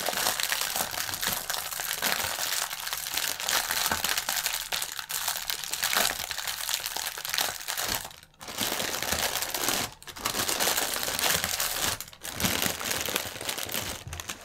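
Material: Plastic film.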